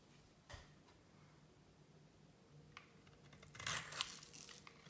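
A solid black-and-white striped bar of soap, held in one hand with long painted nails, is shaved and cut with a small metal blade, and soap shavings fall off. Soft, crisp scrapes and faint crunchy snaps come at first, then build into a dense, bright crackling run of cuts near the end. The sound is quiet and dry, with no ring after each cut.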